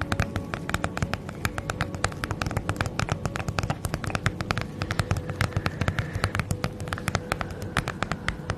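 Long nails tap quickly and scratch across a holographic padded plastic bubble mailer bag, making a dense run of rapid, crisp clicks over a soft rustling crinkle. The taps come in uneven bursts throughout, with a faint steady hum underneath.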